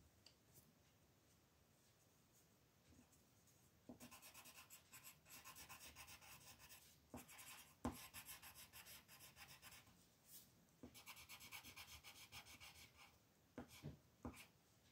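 A green wooden colored pencil is rubbed and scratched back and forth to shade a single thin, flat white paper mandala sheet lying on a table, while the other hand holds the paper still. After a quiet start, bursts of bright, dry scratchy strokes rise and fall, broken by a few sharp taps and short pauses between the shading passes.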